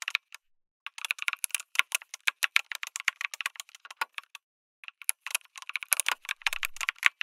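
Fingertips type fast on a lit mechanical keyboard with an aluminum case and plastic keycaps, making rapid, bright, clicky key strikes. The typing comes in bursts with a brief pause near the start and another around the middle, each keystroke short and crisp with almost no low end.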